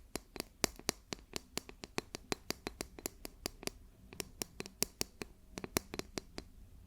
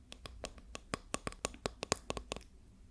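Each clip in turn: First: Rapid run of light, bright fingernail ticks on a plastic ruler, each dying instantly with no ring. Second: A quick run of light, dry taps with no ring, the soft clicking of a wooden ruler.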